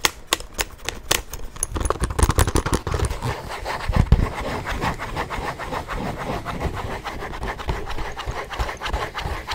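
Fingertips and nails tap and rub the leather flap and straps of a small, hollow tan leather satchel. Quick, dry clicking taps with soft low thumps come first, then blend into a steady, close scratching and rubbing texture that lasts to the end.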